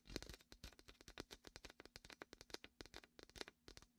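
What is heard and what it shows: A large red and white hollow inflated vinyl beach ball, held in the hand at the mic's left ear, as fingers press and peel its sticky vinyl surface. A rapid, dense run of short, quiet sticky crackles and pops with bright, high edges follows, each dying away almost instantly.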